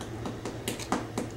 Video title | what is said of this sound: rye bread | To know it's done, thump it, and it should be completely hollow sounding.